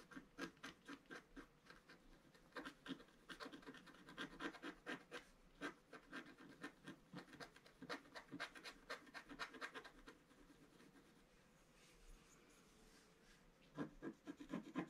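A thin wooden stylus scratches near the right edge of a flat black sheet of wax-coated scratch art paper in a book. Quick, irregular dry scratching strokes rasp across the surface in uneven bursts, with a quieter lull before a final flurry of strokes.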